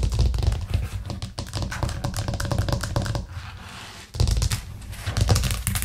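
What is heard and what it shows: Long nails tap rapidly and continuously on a white plastic cutting board with green edges, resting flat on a cork trivet. The taps are dense, dull and low, with a brief quieter stretch before the fast tapping resumes.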